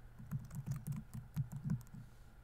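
Fingertips type on the plastic keys of a laptop keyboard, producing about nine soft, muffled key taps in a quick irregular rhythm. Each tap is a short, low thud with a faint bright click on top that dies away almost instantly, heard over a quiet background.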